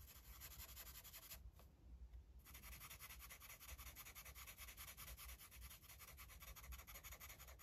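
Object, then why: Felt-tip marker on a paper page. A red felt-tip marker is rubbed and scribbled over a flat paper coloring book page in quick, repeated strokes, making a steady, bright, papery scratching with a low rumble underneath. The strokes thin out for a moment near the two-second mark, then resume at an even, rhythmic pace to the end.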